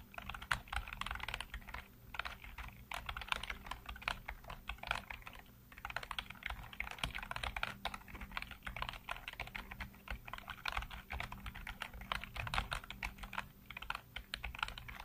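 Fingertips type rapidly across a full-size black plastic computer keyboard with hollow keycaps, producing a dense stream of short, dry clicking taps with a bright, clattery edge. The typing runs almost continuously, with a brief pause near the middle, over a faint steady low hum.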